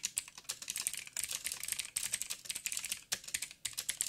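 Fingertips of both hands type on a backlit mechanical keyboard with black plastic keycaps on a silver frame and a hollow housing. Rapid, bright, clicky taps come in quick bursts with brief pauses. Each tap is sharp and dies away almost at once, with almost no low end.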